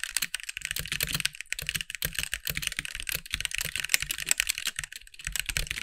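Fast two-handed fingertip typing on a compact backlit mechanical keyboard with white plastic keycaps gives a dense, continuous run of bright, short plastic clacks. Each keystroke dies away almost instantly, with a soft low thump beneath the clicks.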